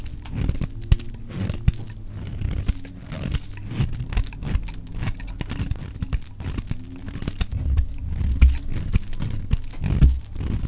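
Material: Soap.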